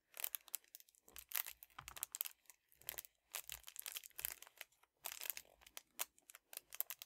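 A flat, soft red metallic foil padded bubble mailer is held in both hands and crinkled and squeezed with fingertips and dark-painted nails. Quiet bursts of bright, crisp crackling come in clusters with short pauses between them, each crackle dying away at once. The sound sits almost entirely in the high range, with very little low end.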